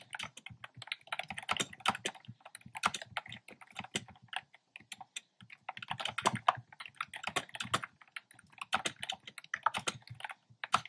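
Fingertips with short nails type steadily on a black plastic keyboard with hollow, round retro-style plastic keycaps in cream, pink and red. Rapid, uneven bursts of short, hollow plastic clicks carry a bright, clacky tone with almost no low end. Each tap dies away instantly.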